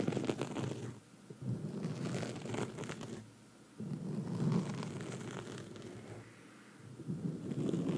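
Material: Foam.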